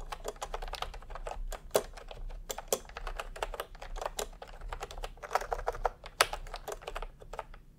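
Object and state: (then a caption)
Plastic keyboard being typed on. Fingertips type steadily on a full-size plastic computer keyboard with round pastel typewriter-style keycaps and a hollow body, resting on a white cloth. The result is a quick, uneven stream of short, bright plastic clicks and clacks with a slightly hollow tone, over a faint low background rumble.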